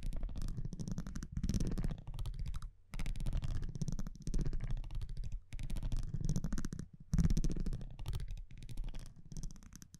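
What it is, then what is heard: Cardboard trading card. A metal tweezer-like tool scratches and taps across the front of a thin printed cardboard baseball trading card held in one hand. The sound is a dense, low, rumbling scrape made of rapid tiny ticks, coming in bursts of one to two seconds with brief silent gaps between them.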